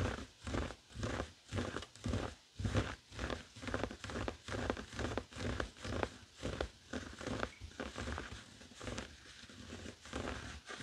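Fingertips of both hands scratch a flat, heart-shaped woven tapestry fabric coaster resting on a wooden table. About twenty-two rhythmic strokes, roughly two per second, each produce a soft, dry, broadband rasp with a low thud. The strokes grow gentler and less distinct toward the end.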